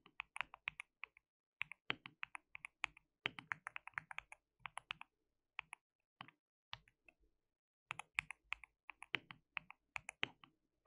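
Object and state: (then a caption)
Plastic mechanical keyboard. Fingertips of both hands type on a white plastic mechanical keyboard with translucent keycaps. Quick bright, clacky key clicks come in rapid bursts separated by short pauses. Each click is dry and ends almost instantly, with little low end.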